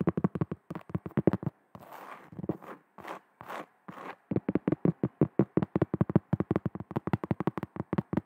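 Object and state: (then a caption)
Cork trivet. Long nails tap rapidly on the face of a large, round, flat cork trivet held in front of the mic, making about forty short, dull, low taps. A burst of taps is followed by slower, breathy scratching strokes across the cork, then another long run of quick taps.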